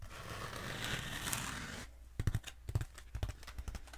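Long acrylic nails scratch and tap a long black textured foam roller held upright and diagonally. A steady, bright rasping scratch runs for about two seconds, then gives way to soft, dull taps with low thumps and brief crinkly scrapes between them.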